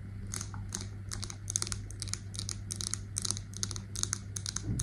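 Long nails tap quickly over the metal lid and glass of a wax-filled scented candle jar, making a rapid run of short, bright clicks with a high metallic sheen. A steady low hum sits underneath the whole time.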